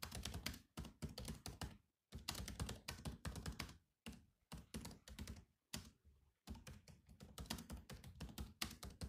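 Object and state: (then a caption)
Plastic laptop keyboard. Fingertips type rapidly on the black plastic chiclet keys of a silver laptop with a hollow body. Bursts of quick, clicky taps with a thuddy low body and bright clicks are broken by short pauses near 2, 4 and 6 seconds, and each tap stops almost instantly.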